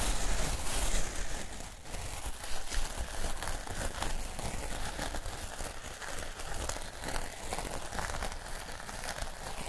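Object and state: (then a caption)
Artificial grass mat, scratched and crinkled. Fingertips and nails scratch and rub the blades of a square piece of plastic artificial turf with a flexible backing, held close to the microphones, and the mat is crinkled. The result is a dense, continuous crinkling and crackling with quick, irregular scratchy bursts over a low rumble.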